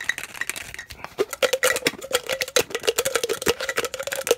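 A clear plastic tumbler with a blue lid and straw is held in the hands and tapped with fingertips on its bottom, lid and sides. The result is a rapid, uneven run of short, dry, hollow plastic taps and clicks with a faint resonant tone around 470 Hz and bright clicky highs. Each tap dies away almost instantly.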